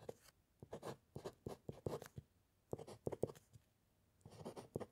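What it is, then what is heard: Pen nib scratching paper on wooden clipboard. A metal fountain pen nib scratches across a white paper sheet resting on a solid wooden clipboard during steady handwriting. Short, dry scratchy strokes come in quick clusters separated by brief quiet pauses. The sound is soft and midrange-heavy, with a faint papery hiss in the highs.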